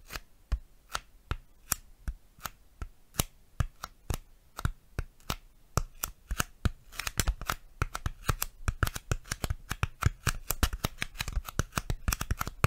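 A piece of styrofoam is tapped and handled close to a microphone, giving sharp, dry clicks with almost no ring. The taps come in a steady rhythm for about the first seven seconds, then turn faster and denser, overlapping into a quick flurry through the end.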